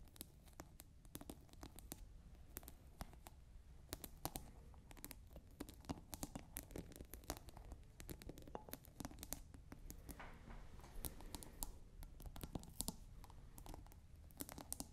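Long nails scratch and tap quickly on a clear plastic scent-pod cap sitting on a clear glass drinking bottle partly filled with water. The result is a quiet, steady stream of short, dry clicks and scratchy rasps with a soft low rumble underneath and brief bright ticks throughout.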